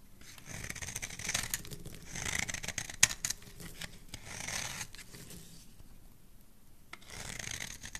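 An oval, solid red bar of soap held in the hand has its surface scraped with a metal blade. Bright, dry scraping strokes come in repeated swells, with a single sharp click partway through and quieter pauses between passes.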